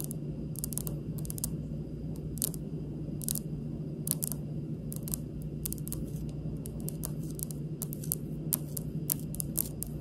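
Long pink nails of one hand tap a large, solid, speckled granite kitchen countertop. The taps come as light, unhurried, bright clicks with almost no ring, over a steady low hum that fills the background.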